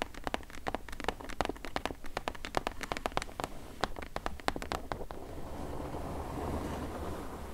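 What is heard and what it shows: Long acrylic nails tap rapidly on the flat side panel of a medium, closed, hollow corrugated cardboard shipping box, making a quick run of short, dry, hollow clicks with a bright edge. After about five seconds the tapping stops, leaving a soft, steady, low rustling hiss.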